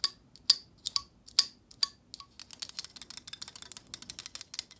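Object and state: Plastic hair brush bristles.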